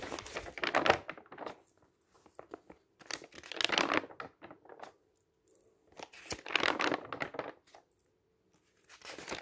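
Fingertips lift and flip the pages of a large booklet of thin, uncoated paper printed with dense tables, lying on a table. Papery rustles and rubbing swell into repeated bright bursts separated by short pauses, with a faint steady low tone underneath.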